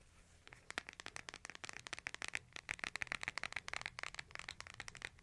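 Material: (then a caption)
Plastic. A hand-sized smartphone with a glass screen and case is held horizontally in both hands while fingertips and nails tap the back and edges of the case. After a brief quiet start, a rapid, irregular run of short, dry, clicky taps follows, bright and crisp with almost no low end or ring.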